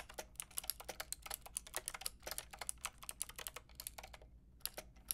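A white and pink Lofree mechanical keyboard with round plastic keycaps is typed on with long painted nails and fingertips. Rapid, bright, crisp plastic clicks and taps come in quick bursts, with a brief pause near the end before a few final keystrokes. The overall level is quiet.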